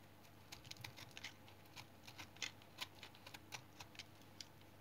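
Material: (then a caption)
Soap. A small, solid tan remnant of brown household soap is held in the hand while a blue-handled knife shaves thin flakes off it. The scrape-cuts make short, crisp, bright scratching clicks that come irregularly over a quiet low hum, and each dies away almost at once.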